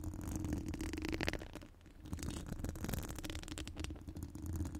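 Long gold acrylic nails decorated with metal charms and rhinestones scratch across the steel mesh grille of a studio microphone, a hollow mesh dome. The result is a continuous, dense scratchy rattling over a heavy low rumble, with a steady tone around 336 Hz and bright rasping streaks. The sound dips briefly in the middle before building again.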